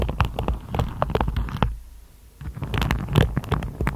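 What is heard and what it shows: Long acrylic nails run over and tap the tips of a hand-sized hairbrush with dense black-and-white plastic bristles on a wooden body, making a rapid, scratchy patter of fine ticks over a low soft rumble. The tapping pauses briefly in the middle, then resumes just as quickly.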